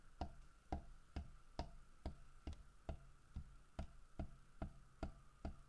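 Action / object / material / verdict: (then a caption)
tap / carved wooden bear figurine / wood / none. Fingertips and nails tap on a large, solid carved wooden bear figurine, striking the carved fish and the bear's side. About a dozen short, dull, low-pitched knocks come at a steady, slightly uneven pace of roughly two per second. Each knock dies away almost at once, with a quiet background between them.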